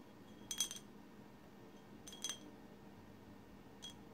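Long silver acrylic nails on both hands tap and scratch a tall swirl-painted glass bottle resting on a placemat. Three brief clusters of bright, high glassy clicks and chinks ring out and die quickly, separated by quiet pauses over a soft steady hiss.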